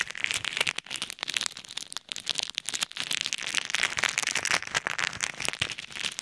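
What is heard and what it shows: Fingertips press and knead a clear plastic bag full of pink and white plastic pearl beads between two ear microphones. The beads shift and rattle in dense, bright, crackly bursts with almost no low end.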